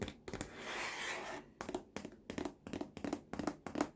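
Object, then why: Molded plastic baby walker tray. Fingertips tap and scratch the large, hollow, molded plastic green and orange activity tray of a baby walker. A broad, hissy scratch fills the first second or so. It is followed by a quick, uneven run of dry, hollow plastic taps with a low-mid knock and almost no ring.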